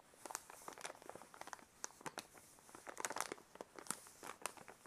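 A white paper envelope is held in both hands while the fingers crinkle and rub the paper. The result is a quiet, dense run of dry, bright crackles and rustles with almost no low end. Each crackle snaps off quickly.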